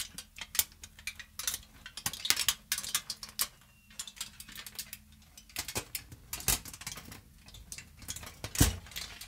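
A crumpled sheet of aluminium foil, held in the hand close to the mic, is rubbed and crinkled with fingertips and long nails. It makes a steady run of sharp, bright crackles and crisp snaps, with a faint low hum beneath. A few louder crunches stand out near the end.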